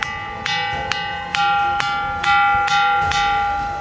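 A large boulder known as the milestone rock, on Gandi Ramanna hill in Nirmal, is struck in a steady series of blows and rings like a bell wherever it is hit. Each strike gives a sharp attack followed by a clear, sustained metallic tone with bright overtones, and the rings overlap into a continuous chime.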